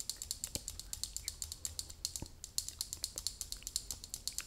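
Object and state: Metal spray can.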